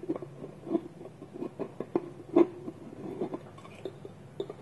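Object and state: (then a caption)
Wooden lidded bowl. Fingertips and nails tap along the side of a small polished hollow wooden bowl held on a table, while the other hand holds its wooden lid against it. About fourteen short, dry, hollow knocks sound, centered near 340 Hz, each dying away almost instantly, with faint clicky high ticks between them.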